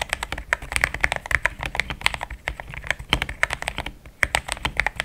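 Fast typing with the fingertips of both hands on a compact pink-white mechanical keyboard with thick plastic XDA keycaps, a polycarbonate plate and linear switches, resting on a desk mat. It makes a quick, dense stream of short, bright clacks centered around 2 kHz, each dying away almost instantly with little low end.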